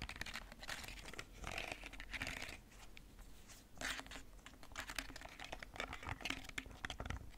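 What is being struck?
Hard plastic TV remote control.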